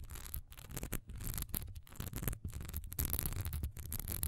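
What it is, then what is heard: Textured wax pillar candle. Long almond-shaped nails rapidly scratch the top edge and sides of a single solid cream wax pillar candle, about 15 cm tall, standing upright and covered in a raised diamond texture. The result is a dense run of dry, crackly scraping bursts with a bright, hissy top and a steady low rumble underneath, broken by brief pauses between strokes.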